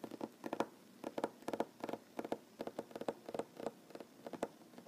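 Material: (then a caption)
Wood. Short fingernails tap rapidly on a large solid wooden tabletop, making quick, dry clicks in uneven bursts with brief pauses between them. Each tap is crisp with a woody body around 550 Hz and a faint bright edge, and it stops almost at once with no ring.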